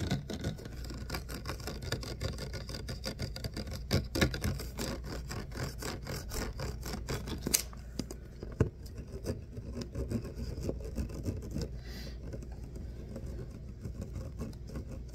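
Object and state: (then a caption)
Plastic water bottle being scratched. Fingertips and short nails rub and scratch a clear, ribbed PET water bottle with a label, hollow and containing water. The result is a dense stream of quick, crinkly scratches over a steady low rumble, with a few sharper clicks standing out. The scratching grows softer and sparser in the second half.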